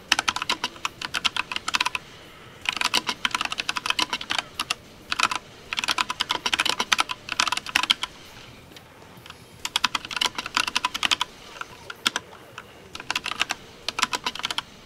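Fingertips type rapid key taps on a compact 60% mechanical keyboard with pastel plastic keycaps resting on a desk. Bursts of bright, dry plastic clacks arrive in quick flurries separated by brief pauses, each tap dying away almost instantly with almost no low end.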